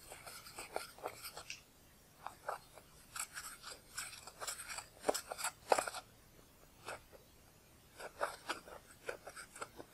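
A pointed pale bone or wooden spatula tool, held in the fingers, scratches and scrapes pressed eyeshadow out of the round pans of a large black plastic palette, crumbling the powder. Quiet, crisp, bright crunching scrapes come in short clustered bursts separated by brief silent pauses, with almost no low end.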